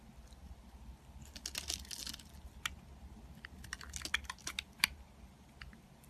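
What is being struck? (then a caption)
Bar of soap carved with a blade. A metal box-cutter blade scrapes and carves crumbly chips off a small, solid, striped green-and-white soap bar held in the fingers. Quick, bright crackling scrapes and sharp ticks sit over a soft low rumble, with a denser burst of shaving early on.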